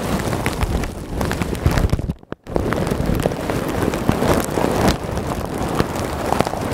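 Hands lift, squeeze and scratch a large clear plastic bag full of small white polystyrene foam beads with fingertips and nails close to the microphone. It makes a dense, continuous crinkling and rustling with crisp clicky ticks and heavy low close-mic rumble. The noise briefly drops to near silence just after the two-second mark, then resumes.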